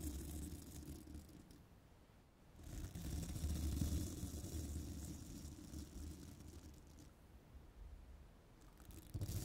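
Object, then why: Metal microphone mesh grille. A small bristle brush strokes across the hollow woven metal mesh grille of a microphone, producing a dense, rumbling scratch that is heavy in the low end, with a faint bright hiss on top. The brushing swells louder in the middle and again at the very end, easing off in between.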